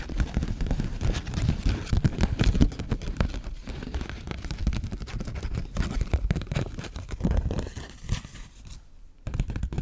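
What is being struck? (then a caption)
Paper banknote. A 20 dollar paper bill is held in the fingers and scratched, stretched and crinkled with long nails. The result is a dense, continuous run of crackling, rustling and scratching, heavy in the low end, with only a brief quiet dip near the end.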